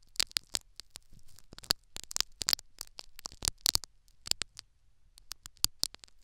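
Two thin metal syringe needles repeatedly poke and scratch a small tan foam sponge plug sitting in the ear canal of a silicone ear-shaped binaural microphone. The result is an irregular series of sharp, bright, crackling clicks and short scratches with almost no low end, each stopping instantly over a faint soft hiss.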